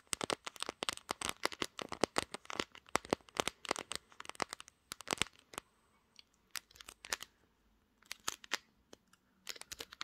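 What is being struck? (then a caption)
Smartphone with glass back. Long nails tap rapidly near the camera lens and across the glass back of a pink glass-backed smartphone. The sound is a dense stream of sharp, bright clicks with almost no ring, arriving in quick bursts with short pauses in between.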